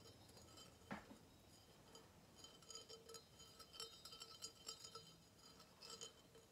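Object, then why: Engraved brass vase. A hollow engraved brass vase about 15 cm tall is tapped and scratched with fingernails. Quiet, bright metallic clinks and light scratching come in an irregular series, each tap ringing only briefly over a faint steady background.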